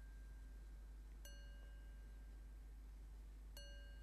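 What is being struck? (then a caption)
Metal singing bowl. A medium, hollow, empty metal Tibetan singing bowl with painted decoration rests on one palm and is tapped with the fingertips and nails of the other hand. Light taps draw short, clear, bell-like tones with a pitch near 2.9 kHz and bright shimmering overtones, each ringing for about half a second. The tones sit quietly over a steady low hum.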